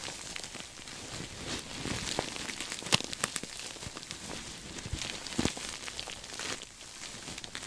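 A soft, stuffed cream sequin throw pillow is hugged close to the microphone and scratched with fingertips and nails. The sequins make a steady, bright, crackly rustle scattered with sharp clicking ticks and a few louder scrapes.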